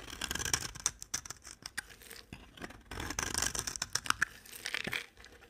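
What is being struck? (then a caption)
Bar of soap scraped with a blade. A utility knife blade scrapes shavings off a solid, dry, cream-colored soap bar held in a hand with long dark nails. Quiet, bright, dry scraping and crackling strokes come in quick bursts with tiny sharp snaps and no ring.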